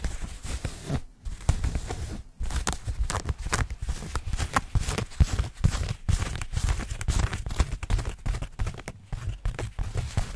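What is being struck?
Denim jeans.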